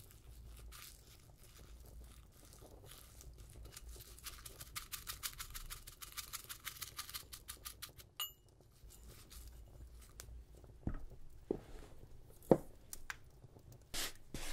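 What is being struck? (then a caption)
Brass mortar and pestle. A brass pestle knocks and grinds against the inside of a small hollow brass mortar that holds a little dried herb and is held in one hand. A quiet run of rapid, dry scraping taps with bright clicks gives way to a few sharper metallic knocks and clinks, ending with the hand lifting away.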